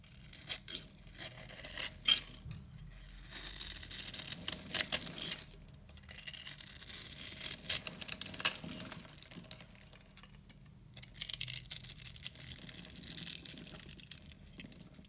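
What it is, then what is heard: Dry bar soap being scraped and cut. A pink-handled utility knife scrapes and cuts into the scored surface of a solid, palm-sized purple bar of dry soap held in the hand, breaking off crumbly soap cubes. Bright, dry scraping and crumbling comes in three long bursts, with soft crackling in between.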